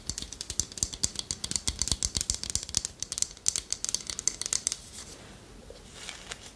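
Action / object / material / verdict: scrape / wooden spoon / wood / none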